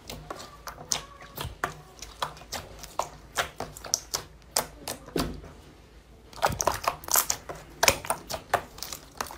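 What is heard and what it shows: A large flat sheet of translucent pink glitter clear slime, soft and solid, on a white surface is pressed, pinched and squeezed with bare fingertips and palms. Many sharp, bright, wet pops and clicks come in quick uneven bursts, with a brief quieter lull before a denser run of pops.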